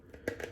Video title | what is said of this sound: Nice and smooth with SV and RX | it sounds like plastic look here it's metal though